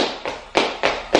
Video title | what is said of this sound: Bienvenue dans ma nouvelle vie - MarciaBloemVlog💛🌺 | c'est très bruyant fait ou fait tomber un petit truc ça fait genre ça résonne de fou